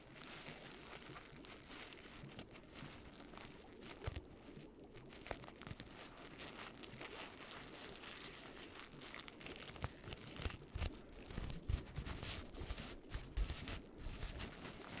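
A hollow orange paper pumpkin is crumpled and crinkled between both hands with long nails. A steady, dense crackle of paper crinkling and crunching runs throughout, with a heavy low-end rustle under bright, papery detail. Sharper, louder crunches and pops come through more often in the last few seconds.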